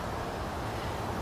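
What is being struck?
Nothing is struck.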